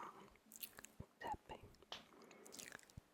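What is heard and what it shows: A Black Roll foam roller is tapped with quick, soft, dull taps and short scratchy rustles. Each tap dies away almost at once, with a faint crunchy texture between them.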